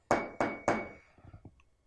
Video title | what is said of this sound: Arte - 1.º ano - aula 14 - 01/06 | se vocês baterem com o metal no vidro fica mais agudo ainda